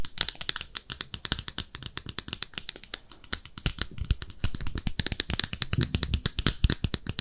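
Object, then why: Small ceramic bathtub-shaped soap dish. Long nails tap and scratch a small, empty, pink speckled ceramic soap dish shaped like a bathtub. A rapid, steady stream of sharp, dry clicks and bright scratches sounds with almost no ring, each tap dying away instantly. The tapping grows somewhat louder and busier in the second half.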